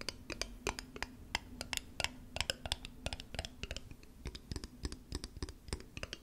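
Long acrylic nails tap and scratch a small, thick-walled, clear glass square bottle that looks empty, held in the hands. A rapid, uneven series of sharp, bright clicks with very short ring is heard, mixed with soft scratching between the taps.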